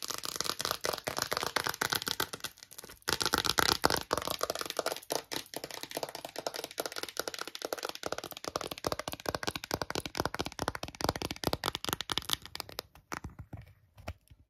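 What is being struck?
Hard plastic phone case.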